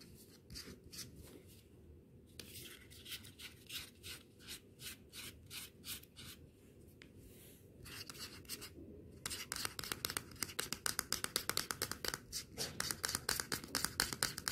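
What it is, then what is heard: Plastic earbud case being scratched. Fingernails scratch and rub the surface of a small, round, hollow, glossy white plastic earbud charging case. The sound is a quiet, bright, dry rasping: steady back-and-forth strokes at first, then faster, denser, louder scratching in the second half.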